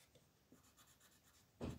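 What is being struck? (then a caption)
Colored pencil on paper. A purple colored pencil rubs over a flat white paper mandala coloring sheet in small coloring strokes while the other hand rests on the sheet. Faint, soft scratching strokes repeat quietly, then a louder, fuller low rustle swells near the end.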